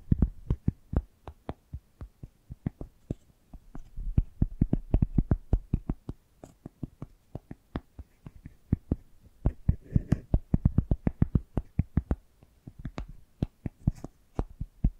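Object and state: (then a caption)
Cork coaster. Long nails tap and scratch the edge and surface of a round, rimmed cork coaster held in the hand. The result is a quick, irregular stream of short, dry, dull taps, mostly low in tone, with soft scratchy rustles between them.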